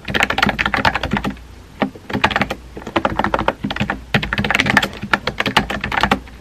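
Fingertips with painted nails type rapidly on a compact, hollow-bodied pink plastic mechanical keyboard with round white-and-pink typewriter-style keycaps, resting on a desk. Quick bursts of bright, clacky key taps come in clusters separated by brief pauses, each click short and dry with a faint low hum underneath.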